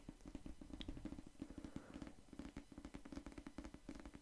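Fingertips tap and scratch the cardboard cover of a solid pink paperback novel held beside the microphone. A quick, uneven run of soft, dull taps with a low hollow tone comes through, mixed with faint papery scraping. Each tap stops almost at once.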